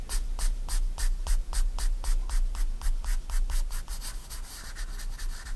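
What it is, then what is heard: Pencil strokes on sketchbook paper. A 4B pencil draws small, quick strokes on a white paper sketchbook page lying flat, making a rapid, fairly steady series of short, bright scratches. A low background rumble runs underneath, and the strokes grow softer and blur together toward the end.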